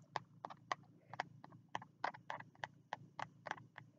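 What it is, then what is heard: Spiral notebook with card cover. Fingertips tap the green card cover and edge of a small spiral notebook held low, making about fifteen short, dry taps at an uneven pace. Each tap is a quick, papery knock centred around 1 kHz with a bright edge, dying away almost instantly over a faint low hum.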